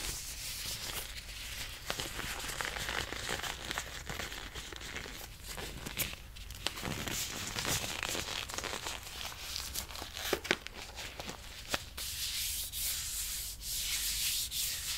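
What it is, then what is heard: Leather gloves being rubbed. Long black leather gloves worn on both hands are rubbed and squeezed against each other, making a continuous bright crinkling and creaking texture. Frequent short, sharp crackles stand out above the steady rustle throughout.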